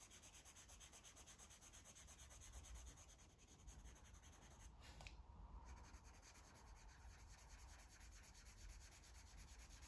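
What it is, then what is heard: Felt-tip marker coloring on paper. A felt-tip marker rubs repeatedly across the pages of a paper coloring book, a thick stack of white paper lying flat and solid, while coloring. The result is a steady, quiet, scratchy rubbing texture with a low rumble underneath. Around the middle, the high hiss briefly drops away.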